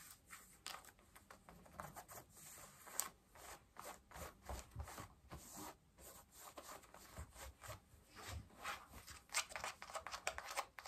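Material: Denim.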